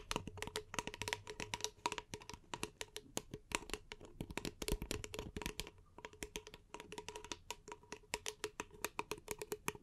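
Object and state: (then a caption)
Paper cup tapped with fingernails. An empty, hollow beige paper cup is held in both hands while long nails tap rapidly on its side. About sixty short, dry clicks come in quick irregular bursts, each dying away almost at once. They carry a hollow tone near 1 kHz with a lower band around 400 Hz and a bright edge.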